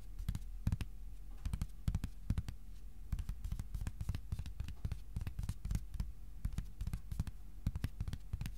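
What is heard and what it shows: A thin, flat white cardboard sheet, about A4 size, rests on a lap and is tapped with fingertips. A rapid, uneven run of soft, dull taps, with very short decay and weight low around 100 Hz, each tap carrying a faint crisp click.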